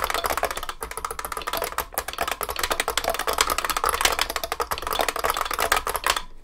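Both hands type continuously with their fingertips on a large vintage beige IBM 3278 beam spring keyboard with plastic keycaps and a metal case. The result is a rapid, steady stream of sharp, bright, clacky keystrokes over a faint low hum.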